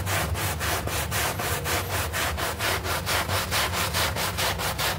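A bristle brush scrubs a small, soapy, green artificial-grass synthetic turf doormat with fast strokes. Steady, rhythmic, bright rasping swishes run over a constant low hum.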